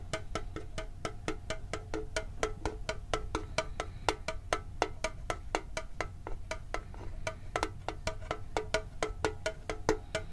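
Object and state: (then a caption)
Metal card tin. A hand-sized, hollow, printed metal Pokemon card tin is held near the microphone and tapped with fingertips on its side and lid. The result is a fast, steady run of short, dry clicks with a hollow ring pitched around 445 Hz that dies away almost at once. A constant low rumble sits underneath the taps.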